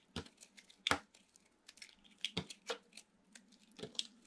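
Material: Soap.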